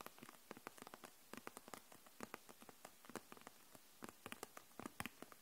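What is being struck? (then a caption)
Plastic felt-tip markers in a plastic package. Long nails tap along the barrels of a row of plastic felt-tip markers held upright in a clear plastic package. A quiet, rapid, uneven patter of short, dry, bright clicks follows, each dying away at once, like light rain on a hard surface.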